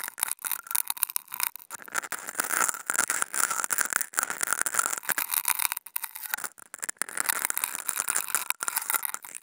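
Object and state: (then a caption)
Non-woven fabric sheet being scratched. Two wooden toothpicks fitted with contact mics scratch across a flat white non-woven fabric sheet. The result is a dense, crackling, rattly scrape with bright, hissy highs and almost no low end, pulsing in quick uneven bursts with a few brief pauses.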